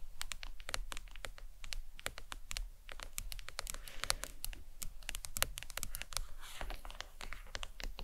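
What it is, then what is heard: Plastic phone case tapped with nails. Long pointed acrylic nails tap and lightly scratch the back of a flat smartphone lying face down in a glossy leopard-print hard case, likely plastic, resting on a towel. Rapid, crisp, bright clicks with almost no ring come in quick irregular bursts throughout, mixed with soft scratchy rasps. A faint low rumble sits underneath at a steady, quiet level.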